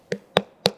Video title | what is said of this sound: మంచి పుచ్చకాయ కొనాలంటే.. ఇదే బండ గుర్తు! -- How to select a good watermelon? -- Vikram Aditya | Filling ఉన్నట్టు fill ఉంది పూర్తిగా ఫిల్ అయి ఉంది. ఇది కేవలం నీటి శాతం అధికంగా ఉంది.